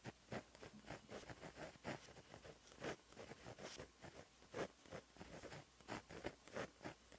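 A white gel pen with a plastic body and 0.8 mm tip writes Korean cursive on a flat black lined notebook page resting on a surface. Quiet, light scratching strokes of the pen tip across the paper come in short bursts with brief pauses between them.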